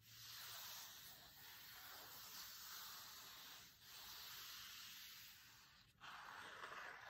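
Flat hands and fingertips rub the linen cloth cover of a closed hardcover cookbook resting on a table, with a few taps. The result is a steady, soft, bright hiss-like rubbing that dips briefly near 4 and 6 seconds before resuming slightly louder.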